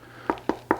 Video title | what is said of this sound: Don't Choose Your Next Rifle Until You See This Comparison | this one does have a little bit more of a hollow sound in the stock than what the Tikka does